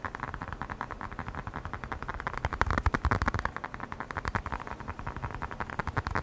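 A small black hollow rubber air blower bulb with a blue nozzle is tapped and squeezed with the fingertips close to the microphone. It gives a fast, steady run of dozens of short, dry, muffled taps, each with a low thump and a hollow midrange knock that dies away almost instantly. The tapping stays continuous for the whole clip.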